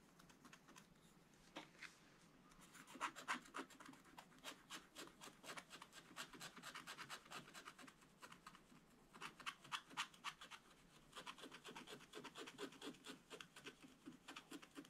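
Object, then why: Black-coated scratch-art paper scratched with a wooden stylus. A wooden stylus scratches lines into a black-coated scratch-art page in a spiral book. It makes quiet, rapid, dry scratching strokes, about four per second, with a bright, papery hiss and brief pauses between bursts. Each stroke is short and dies away almost at once.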